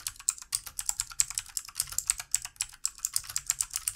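Fingertips of both hands type steadily on the keys of a backlit plastic computer keyboard. The result is a rapid run of crisp, bright clicks with very short decay and almost no low end, at a fairly quiet level.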